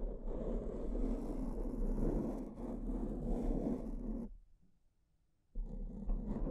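Long purple-painted nails of one hand scratch and rub a soft, porous, fist-sized black foam windscreen over a microphone, right up close to the mic. A dense, muffled, low-heavy scratching rustle runs steadily for about four seconds, stops for a brief near-silent pause, then resumes.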